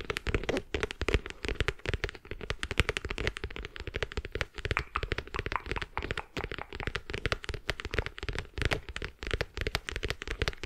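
Long red acrylic nails tap and scratch a small green zippered travel or jewelry case, likely faux leather over a hollow hard shell, held close to the microphone. Rapid, dense, dry clicks and taps run throughout with almost no ring, each carrying a hollow low thump and a bright, crackly scratching edge.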